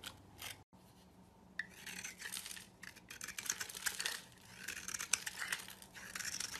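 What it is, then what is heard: Soap bar carved with a knife. A knife blade carves a hand-held, solid oval soap bar with a metallic copper coating, exposing the white soap inside and removing flakes. Quiet, bright scraping and crisp crackling shavings come in uneven bursts, with a brief silent gap near the start and almost no low end.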